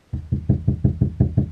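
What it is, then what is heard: Undeadened car door panel. Eight quick taps on a bare steel Yaris door panel, on a spot with no deadening mat, for comparison with a treated spot during a sound-deadening install. Each is a low, dull knock around 130 Hz that dies away almost at once. The tone is only slightly different from the treated spot, sounding nearly the same.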